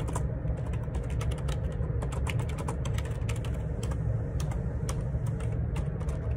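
Fingertips type on the plastic keycaps of a black Perixx Periboard 612 wireless Bluetooth ergonomic split keyboard with a hollow plastic housing, lying on a grey laminate desk. A steady run of light, bright clicky taps sits over a constant low rumble, possibly faint background vehicle noise.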